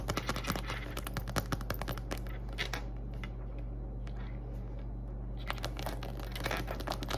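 Long acrylic nails tap and scratch the surface of a small, soft-sided pink glitter vinyl (PVC) zippered cosmetic pouch filled with items, first as it rests on a table and then as it is held up. Quick, crisp taps and scratchy, crinkly scrapes come in dense bursts, ease off in the middle, then pick back up. A steady low hum sits underneath throughout.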